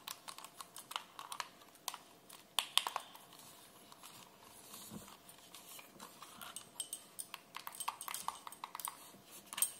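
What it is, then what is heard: Plastic game controller. A hand-sized, hollow pink plastic wireless gamepad is held in both hands while fingertips press and click its buttons and d-pad and nails tap and rub the back shell. The result is a stream of quick, bright plastic clicks and taps with soft scratchy rubbing between them, quiet overall with almost no low end and the hits dying away instantly.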